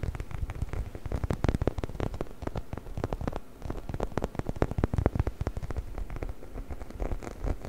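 A hollow, orange, textured rubber chicken toy held close to the mic is scratched and rubbed with fingertips and nails. The result is a dense run of quick, dry scratching clicks over a low, rumbling body. It comes in uneven bursts with a brief softer dip partway through.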